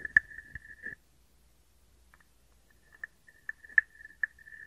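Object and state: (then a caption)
Wooden frog guiro. A small, hollow, carved wooden frog guiro, held in the hand, is scraped and tapped with a wooden stick and fingers. About eight sharp, dry wooden clicks and short scrapes ring at a woody pitch near 1.7 kHz. A quiet pause in the middle separates an opening burst from a later cluster of taps.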